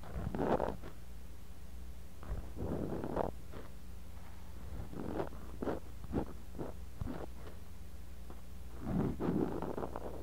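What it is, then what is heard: Kinetic sand scratched in a glass cup. A bamboo ear pick digs and scratches the surface of kinetic sand in a clear glass cup, close around a small microphone buried in the sand. Short, muffled, gritty scrapes and crunchy rustles come in uneven bursts, some longer and some quick, over a steady low hum.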